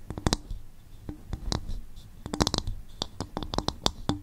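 Long fingernails tap and scratch an upturned, hollow, empty coconut shell bowl. Sharp, dry clicks come in quick irregular clusters, each with a brief hollow tone around 300 Hz and a bright edge that dies away almost at once. Soft scratching fills the gaps between the taps.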